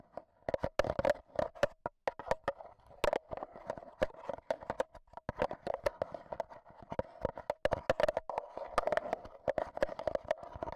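A black Zoom H1n recorder is held in the hand while its metal mesh microphone head is tapped with AA batteries worn as long nails. Rapid, irregular bursts of sharp, dry metallic clicks and ticks repeat throughout, with a faint mid-pitched metallic ring under each tap and bright, crisp attacks that die away almost at once.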